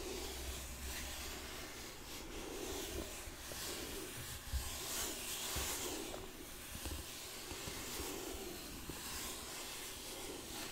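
Fingertips and nails rub and scratch the flat sides of a medium, hollow, closed rectangular gold-colored cardboard gift box with printed brand lettering. The result is a steady, bright, hissing scratch with soft papery friction over a faint low rumble, with a few slightly louder scrapes along the way.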